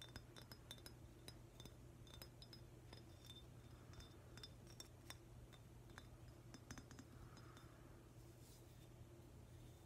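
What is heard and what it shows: A hand-sized, hollow, green glossy glazed ceramic octopus figurine is held in one hand and tapped with fingertips and nails. The result is a quiet, steady run of short, bright clinking taps with brief glassy rings over a low steady hum.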